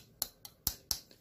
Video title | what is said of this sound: How A Reed Valve Works - Expert's Explanation | isso é fibra de carbono quando você bate nela o som vai sair assim